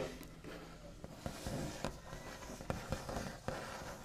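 The backs of the fingernails of both hands scratch and tap across a large, solid wooden table top painted with a smooth white finish. A soft, continuous scratchy rustle runs throughout, broken by sharp, short taps with a dull low body that die away almost instantly.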